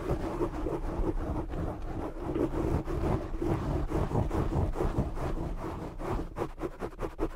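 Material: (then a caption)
Foam. Both hands cup and scratch a soft, hollow black foam windscreen over a large desktop microphone with short fingernails and fingertips. The result is a dense, muffled, low rumbling scratch with little high end. It runs steadily before breaking into quicker separate pulses near the end.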